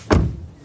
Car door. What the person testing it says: that sounds solid really cool